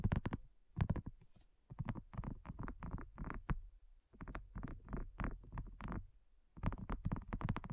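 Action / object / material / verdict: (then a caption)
tap / silicone coaster / silicone / none. Both hands tap and scratch a large, flat, pink heart-shaped silicone coaster with a dotted texture, solid and thin, lying on a black surface, using medium-length natural nails and fingertips. Quick, soft, muffled taps and scratchy patters come in dense bursts separated by brief quiet gaps. The sound is dull and low-heavy, with each tap dying away almost instantly.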